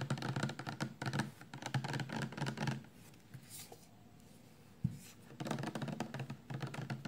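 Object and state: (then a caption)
Full plastic shampoo bottle. A full 400 mL clear plastic shampoo bottle, held lying down and then upright, is tapped quickly with long painted nails, making rapid dull, hollow clicks. The tapping runs in dense bursts, drops to a quiet pause with one soft thump, then resumes at full pace.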